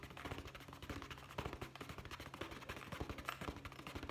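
Fingertips quickly tap the end and side of a hollow, brown leather zippered pouch. A rapid, steady run of soft, dull taps with a low, hollow body and brief bright clicks fades quickly between strikes.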